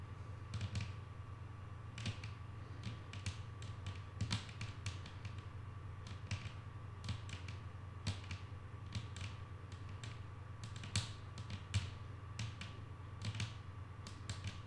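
Long painted acrylic nails on both hands tap a flat, solid wooden tabletop in quick, irregular bursts of short, dry clicks that die away almost at once. Each tap adds a bright click over a steady low hum and a faint constant mid tone.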